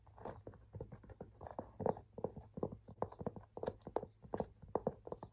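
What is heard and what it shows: Fingertips and nails tap on the body and dark strap of a hollow cream and light-blue leather shoulder handbag with tan trim, held up by hand. A quick, uneven run of about two dozen soft, dull taps and clicks is heard, each with a hollow mid-range knock that dies away almost at once over a faint low hum.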